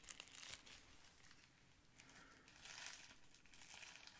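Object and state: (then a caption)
Plastic bubble wrap sheet. A clear plastic bubble wrap sheet is squeezed and rubbed with the fingers, then held close to the camera. The result is a quiet, bright, continuous crinkling and crackling, swelling into louder rustling bursts near the start and again in the second half.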